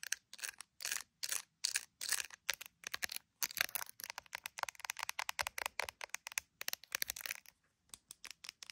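Long nails tap and scratch a handheld iPhone in a clear plastic gummy bear case, seen in a mirror, working over the case and its edge. The result is a rapid, uneven run of dry, bright plastic clicks and short scratchy bursts with no low end and no ring, broken by brief silent gaps.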